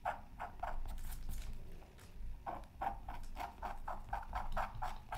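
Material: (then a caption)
Coated paper. A bamboo stick scratches lines into the coating of a thin, flat, black-coated scratch art card from a Mythical Creatures Super Scratch Art Pad. It makes quick, rhythmic scraping strokes with a dry midrange rasp, pausing briefly in the middle before the strokes resume.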